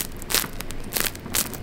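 A freshly baked sourdough loaf, rested for about an hour after coming out, is handled and its crust crackles. Dry, bright crackling bursts stand out over a low, steady rustle.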